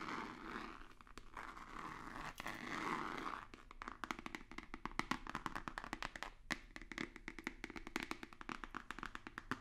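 Fingertips and nails scratch and tap a hollow, white rigid cardboard box with a black stripe. For the first few seconds there is a steady, dry scratching hiss. It then gives way to a fast, uneven run of sharp, crisp taps with a hollow, papery knock and bright clicky tips.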